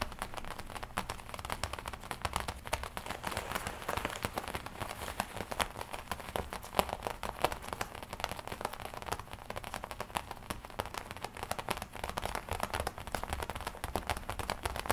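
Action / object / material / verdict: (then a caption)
tap / leather jacket / leather / none. Long nails and fingertips tap and scratch the black leather front panel of a worn black and red studded leather biker jacket. A steady, dense run of quick, dry taps mixes with soft scratchy crinkles, centered in the midrange with a faint low rumble underneath. The sound stays at a quiet, even level throughout.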